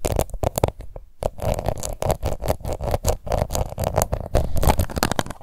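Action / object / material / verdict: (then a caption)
scrape / plastic face powder compact / plastic / none. A small round pink plastic face powder compact, held in one hand, is scratched with long nails. The sound is a rapid, steady series of short, dry scratching strokes with a low, muffled body and some bright crackle on each stroke.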